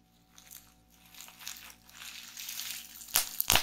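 A small roll of clear plastic bubble wrap is held and pressed in both hands while fingers pinch the bubbles. Soft, bright crinkling and rustling builds gradually, then two sharp, loud pops burst out near the end.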